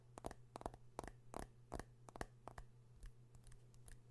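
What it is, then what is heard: Metal-backed smartphone tapped with fingernails. Fingernails tap and scratch the metal back of a metal and glass smartphone held in both hands close to the mic. Quick, dry, irregular clicks with no ring sit over a quiet, steady low hum.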